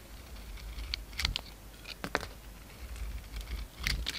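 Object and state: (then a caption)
Bar of soap being shaved. A utility knife blade scrapes and shaves the surface of a hand-size solid oval bar of soap with a glittery brown coating and a cream interior, held in the palm. A series of short, dry, crisp scraping clicks with bright edges sounds over a low, steady rumble, each stopping almost at once.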